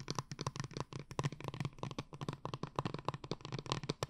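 Long nails rapidly tap and scratch a tall blue plastic glitter water bottle held upright and filled with liquid. The result is a quick, steady stream of short, dry clicks with a low hollow thump under each one and brief scratchy brushes between them.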